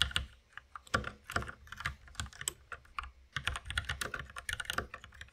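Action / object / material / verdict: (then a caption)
tap / mechanical keyboard with plastic keycaps / plastic / none. Both hands type with their fingertips on a white compact mechanical keyboard with plastic keycaps and a red accent key, resting on a wooden desk. Quick, bright plastic clacks patter in uneven bursts, each keystroke short and crisp with a light low thump beneath it.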